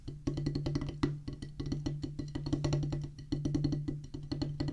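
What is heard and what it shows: A solid oval drum practice pad, black rubber top on a wooden base, is struck with the tips of two wooden drumsticks in drum rolls. It makes a dense stream of quick, dull, woody taps with a low thudding body and a short, dry decay, and the rolls swell and ease in loudness.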